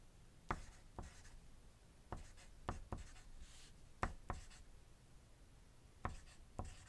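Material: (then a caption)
Paper. A wooden graphite pencil writes on a thin white paper sheet resting on a desk, while nearby dice sit untouched. Soft, continuous scratching strokes are punctuated by short, sharp pencil ticks against the paper, with a quiet, low-heavy tone throughout.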